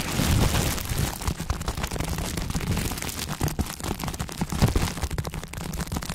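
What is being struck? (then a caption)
Crumpled plastic bubble wrap. A crumpled ball of clear plastic bubble wrap is held in both hands while its bubbles are pinched and popped with the fingertips. A dense, continuous run of sharp pops and crinkling crackles rides over a heavy low-end rumble. Occasional louder bursts stand out from the steady crackle.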